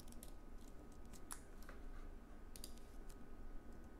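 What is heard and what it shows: Fingertips of both hands tap the plastic keycaps of a slim white Apple Magic Keyboard, a wireless keyboard with an aluminium base, resting on a wooden desk. Steady typing produces a run of soft, short, bright clicks over a quiet low hum, each tap dying away almost at once.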